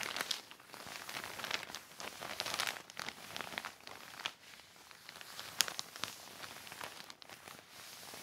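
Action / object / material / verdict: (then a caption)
scrape / heavy plastic sheet / plastic / none. A wet black heavy plastic sheet is wiped by hand with a yellow sponge or cloth. The result is continuous bright crinkling and rustling, with sharp crackles and short squeaks over quiet low end.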